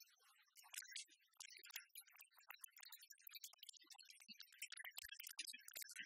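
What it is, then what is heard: Plastic speaker dock. Long red-polished nails rapidly tap and scratch the glossy back panel of a small, hollow black plastic iHome speaker and alarm-clock dock, held in both hands over a wooden table. The clip is a dense, quiet stream of sharp, bright clicks and scrapes, mostly in the high frequencies, with almost no low end and very short decay.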